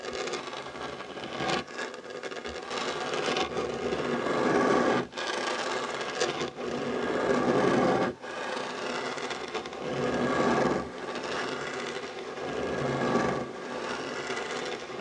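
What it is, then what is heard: Wooden tabletop scratched with nails. Short nails and fingertips scratch the surface of a solid, dark wooden tabletop beside a fabric heart coaster. A steady, dry rasping runs through the clip, centered in the mids with little low end, and it breaks off briefly a few times before starting again.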